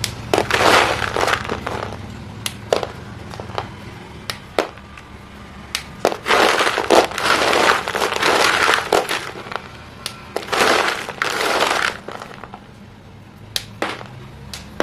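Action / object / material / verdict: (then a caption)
scrape / broken chalk sticks in a plastic basin / chalk / none. A hand rubs and crushes small broken white chalk sticks against each other and the floor of a green plastic basin. Dry, gritty crunching comes in dense bursts mixed with sharp, bright snaps and scraping. The crumbling pieces give short, clicky hits that stop quickly, separated by quieter pauses.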